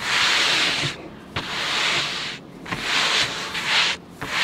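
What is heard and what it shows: Fingertips with short manicured nails on both hands rub and slide across the blue coloured paper of a large spiral-bound sketchbook lying flat on a table. The sound is a bright, dry, sanding-like hiss in long strokes, separated by brief quiet pauses.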